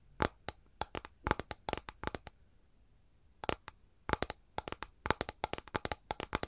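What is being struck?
Flat capiz shell tray.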